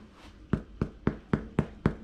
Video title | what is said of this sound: Kuivatun taikinajuuren herättäminen | on tuntunut kohoilevan kun on halkeillut ja kuulostaa hyvin ontolta